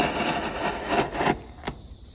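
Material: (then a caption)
Wood. A steel chisel held in the fingers is pressed and pared down the edge of a solid, light-coloured, hand-sized wooden block with end grain showing, resting on a workbench among shavings. About 1.3 seconds of dry, bright scraping and cutting rise and fall in short surges, then stop abruptly. A single short, sharp tick follows before quiet.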